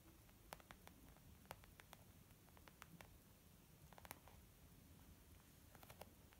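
Long nails slowly tap on a small white textured leather zip makeup bag lying flat, which sounds soft and hollow. Quiet, short, bright clicks and pats come one at a time over a low, steady background hiss, each dying away almost at once.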